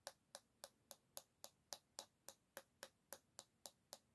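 A single long fingernail taps the solid bamboo back of an oval hairbrush held by its handle, making 16 quiet, bright, dry clicks at a steady pace of about three and a half per second. Each tap is short with almost no ring and has a faint woody tone.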